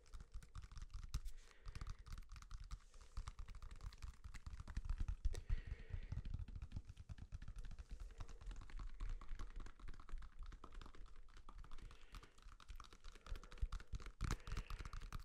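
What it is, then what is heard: Banana. Fingertips and nails tap and scratch the peel of a whole, unpeeled yellow banana held in the hand. The result is a steady stream of quiet, dull, muffled taps mixed with soft scratching, mostly low and thuddy with little brightness, and each tap dies away almost instantly.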